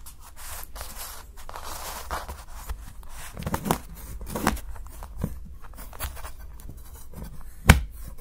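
A steel kitchen knife shaves and chops the edge of a solid milk chocolate bar held down by fingers, cutting it into thin curls that pile up beside it. Soft, dry scraping and crackling runs throughout, broken by several short, louder chopping cuts, the sharpest one near the end.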